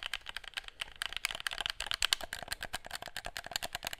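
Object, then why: Plastic handheld game controller. Fingertips press and click the buttons of a hollow, handheld black plastic gamepad and tap its shell close to the mic. The result is a rapid, continuous stream of dry, bright plastic clicks and taps with very little low end, each dying away instantly with no ring.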